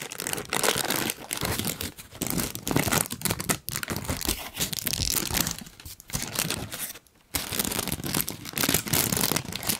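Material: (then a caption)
Paper. A large, thin pink tissue paper sheet is held up beside the microphone while its edge is rubbed and crinkled between the fingertips. Dense, bright crinkling and rustling comes in continuous bursts, with brief dips and a near-silent pause around seven seconds before the crinkling resumes.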